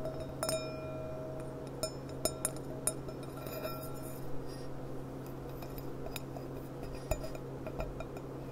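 Long painted nails tap the thin bowl of a clear, empty, hollow gilt-rimmed glass goblet lying on its side, giving scattered bright clinks that ring at a mid pitch. A steady low hum sits under the taps.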